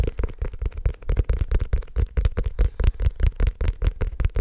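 Fingertips tap quickly on the cover and edges of a small, solid, black leather-covered notebook held up and tilted. The result is a fast, uneven run of dull, low thuds that stop dead with no ring.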